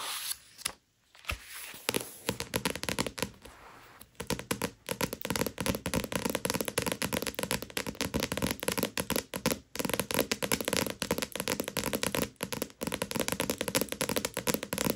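A Tokyo Ghoul paperback book, a solid stack of paper pages, lies flat on a velvet cloth while long acrylic nails tap and scratch on its back cover. After a quieter, hissy start, a dense run of quick, dry clicks and crackly scratches fills the rest of the clip, each sharp tap dying away almost instantly.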